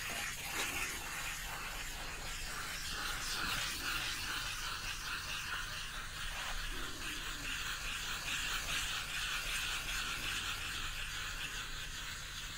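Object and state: Nothing is struck.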